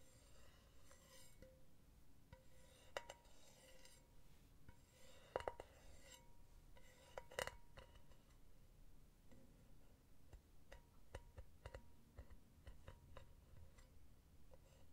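A silver, hollow metal mesh pen holder is held in one hand while long nails tap its solid metal rim and base. The result is a steady run of quiet, light metallic clinks and taps with a faint ringing tone, some taps sharper and brighter than others.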